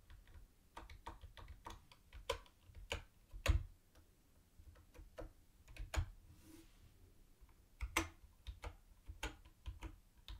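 Fingertips type on a mint-green plastic typewriter-style keyboard with round white plastic keycaps and a hollow body. Irregular, short, bright clicks and clacks are heard, with a few louder key strikes standing out over a low background hum.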